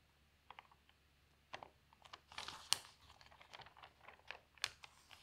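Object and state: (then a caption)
Newspaper pages being turned. An open paper newspaper lies on a table as both hands with long nails grab and turn its thin newsprint pages. Quiet, crinkling rustles come in short bright bursts with a few sharper crackles, scattered irregularly across the clip.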